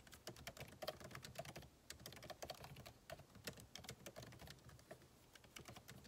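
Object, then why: Laptop keyboard, plastic keys in aluminum body. Fingertips type steadily on a backlit MacBook Pro keyboard with plastic keycaps set in an aluminum body. The result is a continuous stream of quiet, short key taps, each a crisp bright click over a soft low thud, with uneven spacing and a few brief pauses.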